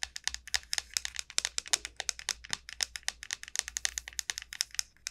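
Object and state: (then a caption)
Dried gourd shell tapped with nails. Long nails tap quickly along the shell of a large, hollow dried gourd. About forty crisp, bright clicks come in a rapid, uneven run. Each one dies away almost at once, with hardly any low-end body.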